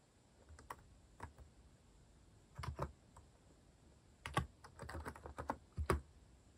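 Fingertips type on a compact white-cased mechanical keyboard with cat-themed plastic keycaps. Irregular key presses come singly and in quick bursts. Each is a short, low-weighted clack with little ring, over a quiet steady hiss.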